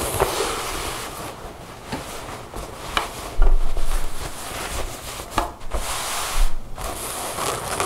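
Long blue nails tap and scratch across a pair of folded blue denim jeans lying flat on a table. A steady, rough rustling scrape fills the clip, broken by a few soft, dull taps and brief louder bursts of scratching.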